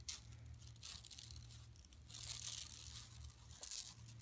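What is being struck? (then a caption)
Woven plastic mesh bag. Long nails scratch across the textured surface of a flat, empty yellow woven plastic mesh tote bag lying on carpet. The result is a bright, dry, rasping scratch that swells in uneven bursts, with a steady low hum underneath.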